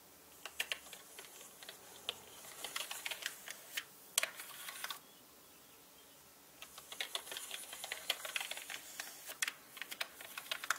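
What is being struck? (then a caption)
Plastic mechanical keyboard keycaps. A small paintbrush with orange bristles, held in the right hand, brushes across the hollow plastic keycaps of a full-size black mechanical computer keyboard. The keycaps give off rapid, bright, dry clicks and rattles that stop briefly in the middle, leaving near silence for about a second and a half, then resume and continue to the end.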